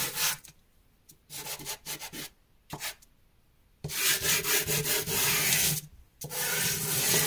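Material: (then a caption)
Carbon. A small, solid dark grey drawing carbon chunk, gripped in the hand, is rubbed firmly across a powder-covered cloth or canvas sheet to draw thick black lines. Bright, dry scraping strokes come in short separate bursts, then build into longer, louder continuous rubs with a brief pause before the final stretch.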